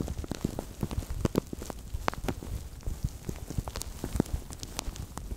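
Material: Plastic.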